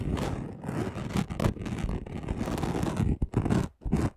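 A flat gold and red chunky glitter sheet, about A4 size and lying on a dark cloth, has its coarse surface scratched fast with the short nails and fingertips of both hands. The scratching is a dense, rough, continuous rasp with a heavy low body and brief pauses near the end.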